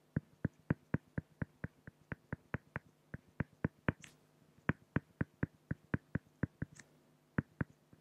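A pen tip draws small strokes on a flat, solid acrylic glass (plexiglass) sheet, producing 29 short, dry taps in a steady, quick rhythm. Each tap is low-weighted with a brief mid-range click and almost no ring, and two faint high squeaks of the tip slipping appear between them.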